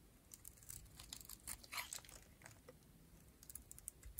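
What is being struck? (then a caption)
Bar of soap shaved with a metal blade. A metal blade shaves curls off a cream-colored, rectangular, solid dry bar of soap with an orange edge. Many quick, crisp scraping and crackling strokes are heard, bright and dry with almost no ring, over a quiet, steady low rumble.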